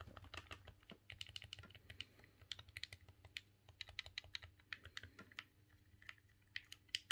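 A silver, hollow plastic GameCube controller is held in both hands while the thumbs rapidly click its buttons. The result is a fast, uneven run of sharp, bright plastic clicks that stop almost instantly, over a faint low hum.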